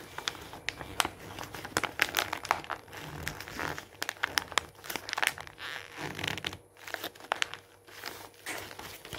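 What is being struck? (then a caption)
Glossy paper magazine page. A hand rolls and crumples a page of an open glossy paper magazine lying on a wooden table, pressing it flat with the palm and fingertips. Dense, bright crinkling fills the clip, broken by many sharp, short crackles and crisp snaps with almost no low end.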